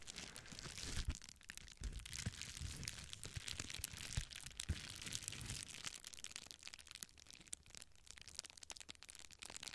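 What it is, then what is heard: Plastic bubble wrap being crinkled. A small clear plastic bubble wrap sheet is held in both hands close to a microphone while fingertips and nails press, rub and crinkle it. The result is a dense, quiet stream of bright crinkles and sharp little crackles over soft, low handling thumps, with no talking.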